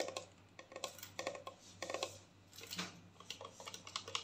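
Long nails tap and scratch a clear plastic mouthwash bottle with blue liquid and a black cap as it is turned in the hands. The result is a quiet, uneven run of quick, bright, clicky taps and brief scratching strokes, each dying out almost at once over a faint low hum.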